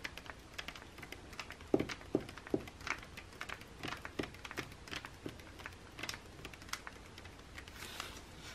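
Both hands quickly tap the printed pages of an open glossy paper magazine lying flat with their fingernails. The result is a quiet, irregular stream of sharp, dry clicks and light papery ticks with a bright edge, each dying away almost instantly.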